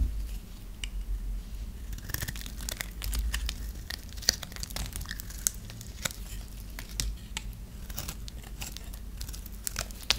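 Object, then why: Bar of soap scraped with a knife. A metal knife blade shaves and scrapes a dry, solid white bar of soap held in the hand. Quick, crisp crackles and bright snaps come in a rapid, irregular stream over a steady low background rumble, with a few sharper cracks standing out.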